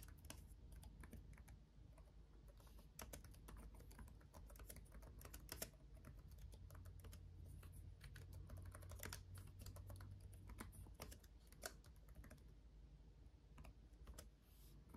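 Both hands type with their fingertips on a black laptop keyboard with RGB backlit plastic keys. The result is a steady, quiet stream of short, sharp clicks with bright edges over a soft low hum, continuing without a pause for the whole clip.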